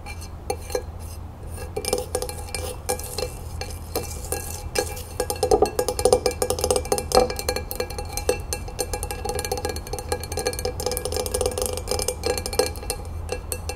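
A flat rectangular glass tray with a red and gold crown print lies empty on a wooden table and is tapped quickly with the long nails of both hands. The result is a dense, steady stream of short, bright clicking taps with a faint glassy tone around 500 Hz that dies away almost at once, over a constant low hum.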